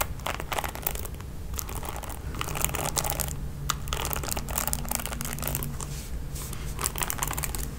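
Long nails strum across the ball-tipped nylon bristles of a red plastic paddle hairbrush that is held up. The result is a dense run of quick, bright, crinkly scratching strokes, with a steady low hum underneath.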